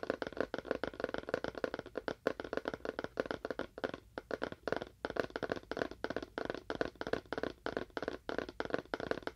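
A small, hollow, empty-looking rectangular cardboard box with a faux wood-grain print is held in both hands in front of a binaural mic and tapped rapidly with the fingernails of both hands. The result is a fast, continuous stream of short, dry, hollow clicks with a woody tone centered around 500 Hz, each dying away almost instantly, with a few brief pauses between bursts.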